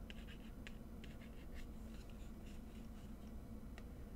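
A small, hollow, hand-sized white-and-black printed cardboard Givenchy Gentleman fragrance box is held in the fingers and tapped and scratched with long manicured nails. The result is a quiet series of short, dry, bright scratching ticks over a steady low hum.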